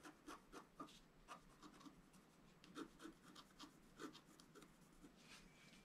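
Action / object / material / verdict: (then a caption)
scrape / coated scratch-art paper card scraped with a wooden stylus / coated paper / none. A wooden stylus scratches the foliage area of a thin, solid, flat black-coated scratch-art paper sheet lying on a table. The result is a quiet series of short, dry scraping strokes with a slight rasp. Each stroke fades almost instantly.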